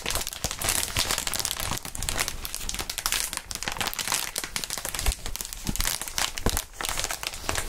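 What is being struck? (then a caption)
Plastic air column cushion wrap. Clear, inflated plastic air column cushion wrap packaging is squeezed and crinkled by gloved hands. The result is a dense, continuous stream of bright crinkling and crackling with no pauses, punctuated by occasional soft low thumps as the air columns are pressed.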